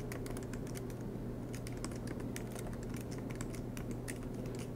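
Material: Plastic.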